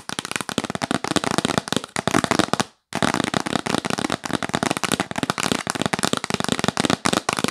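Long nails tap rapidly on the lid of a hollow, yellow printed cardboard box held close, making a dense stream of crisp, dry clicks with a bright, papery crackle. The tapping pauses in brief silence just before the three-second mark, then resumes at the same fast pace with no ring after each tap.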